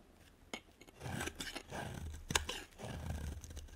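A utility knife blade scrapes and carves a solid, hand-sized white bar of soap, leaving chunky cut facets. Dry, rasping scrapes come in bursts, broken by sharp, bright clicks as the blade cuts through, over a faint low rumble.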